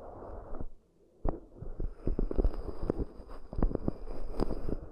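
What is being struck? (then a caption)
Shallow cork dishes tapped by fingernails. Long almond-shaped nails and fingertips tap and scratch the rims and outer sides of two identical shallow, round, hollow, empty cork dishes (raised-rim coasters) with microphones inside. The result is an irregular run of dull, deep, muffled thumps over a soft, low, rumbling scratch, with a brief quiet pause near the start.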